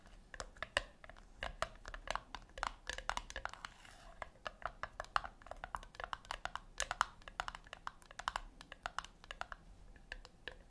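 Long nails tap and scratch the top lid of a flat, round brushed-metal tin that is likely hollow. Quick, dry, clicky taps with almost no ring come in an irregular, rapid patter, centred in the mid range with bright edges. Soft scratchy brushing sounds fill the gaps between taps, and the overall level stays quiet.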